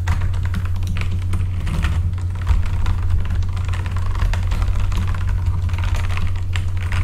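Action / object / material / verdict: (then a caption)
tap / plastic-keycap mechanical keyboard / plastic / none. Both hands type with their fingertips on a full-size backlit mechanical computer keyboard with plastic keycaps. A steady stream of rapid, bright keystroke clicks and clacks continues throughout. Beneath it runs a constant deep low hum.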